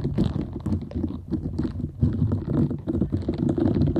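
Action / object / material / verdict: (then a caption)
scrape / silicone scrubber / silicone / none. Long acrylic nails scratch and rub across the soft bristle nubs of a small round green silicone cleansing scrubber held close to the mic. The result is a dense, continuous, low, muffled rustling and crackling with quick overlapping scrapes that swell and fade throughout.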